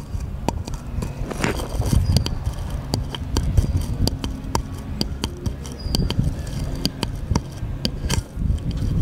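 A small, light, solid wooden paddle-shaped piece, held at an angle against a table, is tapped and scratched with the fingertips. Short, crisp taps with bright clicky edges sit over a dull, low woody thud and a soft, continuous scratching rustle. The taps come in an irregular, steady stream and die away almost instantly.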